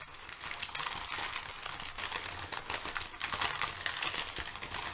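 A stack of crumpled thin brown kraft packing paper sheets is shifted and crinkled with fingertips and long nails. It makes a steady, dense crackle of crisp rustles and small ticks. The sound is bright and airy with almost no low end, and each snap dies away almost instantly.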